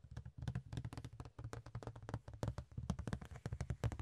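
A large, thin, ribbed rectangular clear plastic box lid is held in the hands and tapped with the fingertips and nails. About thirty quick, dry taps sound in a steady, busy run; each is short, with a low hollow thump under a faint bright click. The taps die away almost at once.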